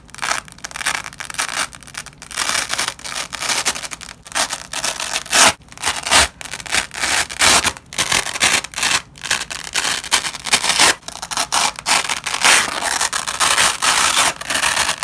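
A nylon velcro strip is folded and ripped apart by black-gloved fingers over a red cloth. Repeated bright, crackling tearing bursts come in uneven waves with short pauses, almost no low end, and a dry, quick decay.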